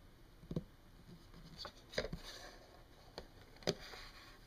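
Long painted fingernails of both hands tap on a flat, solid wood-grain desk surface, possibly laminate. Sharp, dry clicks come at an irregular pace, with bright upper edges and almost no ring, and a soft scratchy rustle fills the quiet gaps between them.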